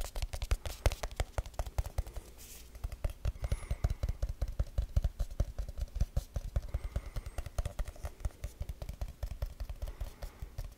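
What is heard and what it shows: A small, round, hollow aluminum tin with a lid is held in the hands and speed-tapped and scratched with fingertips and nails. Rapid, dry, low-heavy taps with almost no ring run throughout, broken near the two-second mark by a brief stretch of softer scratching before the fast tapping resumes.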